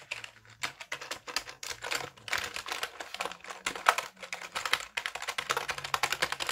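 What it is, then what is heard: Plastic computer keyboard. A black, full-size, wired Dell keyboard with plastic keys and a hollow plastic case is held up in both hands while fingertips tap rapidly across its keys. The result is a steady stream of crisp, bright plastic clicks in uneven bursts with almost no ring after each tap.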